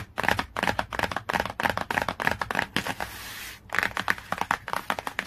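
Long, clawed nails tap rapidly on the same glossy cardboard hardcover book cover, making quick, crisp, clicky taps with almost no ring. Around the three-second mark, the tapping briefly gives way to a steady, scratchy rasp across the cover before the fast tapping resumes.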